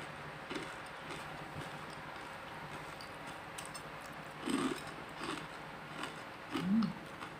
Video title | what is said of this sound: Tips Membuat Ayam Super Krispi Hingga 12 Jam!! Bisa untuk usaha dagang di rumah ~ | Coba dengarkan bunyi kriuknya. Crispy dan renyah sekali ya.